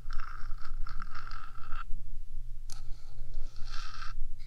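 Long acrylic nails on one hand scratch along the top of the hollow, rectangular metal housing of a 3Dio binaural microphone, producing a gritty, bright scraping with a steady whistling tone near 1.3 kHz. The scratching runs for almost two seconds, falls quiet, and resumes after a brief sharp tick. A steady low hum sits underneath throughout.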